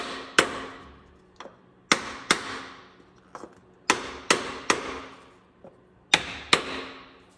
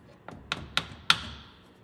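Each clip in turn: First: oil seal fully seated. Second: oil seal not yet fully seated.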